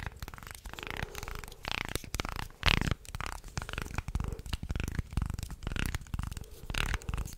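A wooden slotted, segmented shark toy is flexed in both hands and then held upright while fingernails scratch down its segments. The result is a close, dense run of quick clicking and rasping wooden ticks. Low rumbling handling noise sits under a few brighter scraping sweeps.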